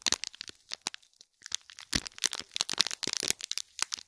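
Fingernails scratch the top and sides of a small gold foil-wrapped gift box in plastic film, crinkling the wrap. Dense bursts of sharp, bright crackles come in quick clusters with a brief pause near the middle, each snap dying away almost instantly.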